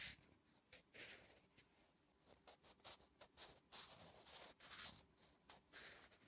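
A wooden graphite pencil writes Korean letters on a flat, solid lined paper notebook page, making quiet, bright scratching strokes. The short strokes come in an uneven rhythm, each sharp and dry, with little low sound underneath.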